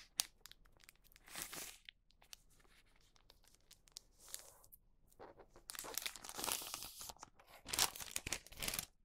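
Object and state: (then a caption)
Wax paper sheet crinkling. A thin printed wax paper sheet resting on a cutting mat is folded, pressed and lifted with fingertips. It gives bright, dry crinkling and short tearing-like rustles in several bursts, separated by quiet pauses.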